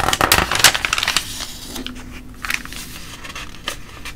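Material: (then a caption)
Paper. A flat palm and fingertips rest on and rub across the printed pages of a thin glossy paper coupon and ad booklet lying open on a table, with some page handling. Bright, crackly rustling bursts come thickly at first, then settle into a softer, steady paper hiss broken by a few sharp crinkles.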